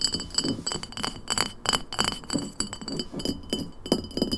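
An empty glass lemonade bottle, first standing upright and then tipped on its side, is tapped quickly with long nails on its shoulder and base. The result is a rapid, irregular run of short, bright glassy clinks with faint high ringing tones.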